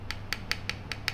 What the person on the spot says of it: Ini bukan kayu nih. Tuh, bunyinya juga beda kan?